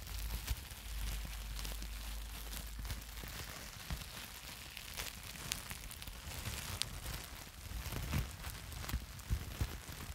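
A sheet of plastic bubble wrap is crumpled and squeezed in the hands close to the mic, worked with the fingertips and long nails. A steady crinkling crackle runs over a low, boomy rumble, broken by sharp, bright clicks and snaps throughout.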